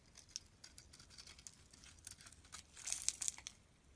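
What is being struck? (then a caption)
Bar of soap. A utility knife blade shaves curls from the surface of a solid green soap bar held in the palm. Quiet, bright, crisp scraping and crinkling bursts repeat throughout, with a sharper, louder cluster of cuts near the end.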